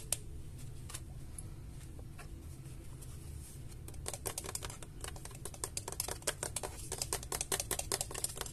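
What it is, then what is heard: Graphics card plastic shroud tapped. A large, hollow white Gigabyte RTX 3080 graphics card is held in the hands while fingertips and nails tap its plastic fan shroud and the edge of the card. Sparse, light clicks come first over a low steady hum, then from about four seconds the taps turn into a rapid, dense run of sharp, dry clicks.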